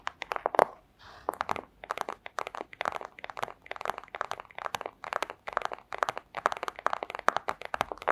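Long acrylic nails rapidly tap a flat, thin, clear plastic pouch, making dense clusters of dry, crisp clicks with a crinkly, crunchy texture centered in the midrange. The taps stop almost instantly with no ring, and a brief pause near the start carries a softer rustle of the plastic before the steady tapping resumes.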